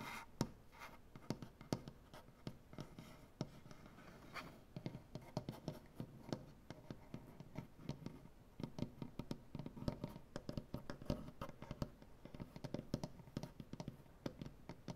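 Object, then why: Wooden butcher-block tabletop. Fingernails from both hands scratch and tap across a large, solid wooden butcher-block tabletop. Quick, dry, knocking taps, each dying away almost at once, are heard over a steady scratchy rasp. The sound is quiet and mostly low to mid, with faint bright ticks.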